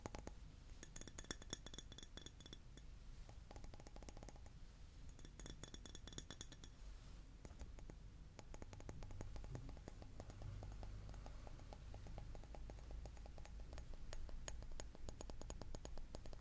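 A glass object is tapped over and over, giving quick, bright clinks with a clear high ringing tone. The taps come fast and unevenly over a steady low rumble. Some stretches hold a sustained high shimmer.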